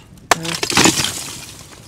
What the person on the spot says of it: Como el sonido de un cristal.